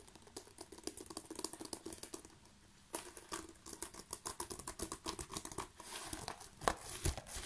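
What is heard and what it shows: A rolled tube of plastic bubble wrap is scratched and squeezed with fingertips, held close up, making quick, dense crinkling and ticking scratches with bright, crisp edges. After a short near-silent pause, the crinkling returns louder and busier, with a few sharper pops toward the end.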